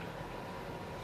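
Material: Nothing is struck.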